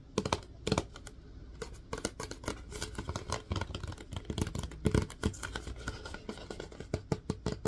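Fingertips tap rapidly on the lid and body of a plastic Lysol disinfecting wipes canister tilted in the hands. The result is a dense, uneven run of short, dry, hollow plastic knocks and clicks. Each one dies away almost instantly, with most of the weight in the low end over a faint soft background.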